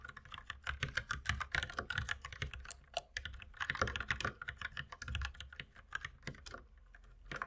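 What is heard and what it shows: Fast two-handed fingertip typing on a compact white mechanical keyboard with plastic keycaps, resting on a wooden desk beside an unused mouse. A dense, steady stream of short, sharp plastic clacks with a bright click and a soft low thud under each keystroke, running throughout with only brief pauses.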